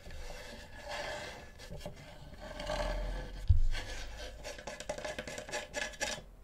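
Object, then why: Wooden cutting board. Fingertips and nails scratch and rub the edge and underside of a flat, solid, light-coloured wooden cutting board held up close to the microphone, making a steady dry rasping with a low rumble underneath. A single heavier knock stands out midway, and a knife with a wooden handle ends up resting on the board.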